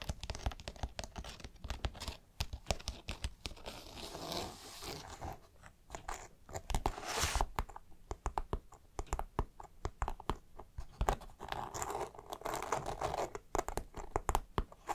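Fingertips and nails scratch and rub along the coated fabric of a dark green polyester backpack, across its stitched seams and pocket flap. The result is a dense run of dry, crinkly scratching and short crunchy taps, mostly low-heavy with some brief bright swishes of rubbing in between.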